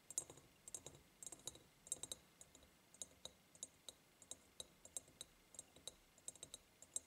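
Long painted nails tap on the sides of a large, empty, hollow ribbed glass jar. The result is a quiet, steady, slightly uneven stream of sharp, bright clicks, each dying away almost at once with a faint high glassy tick.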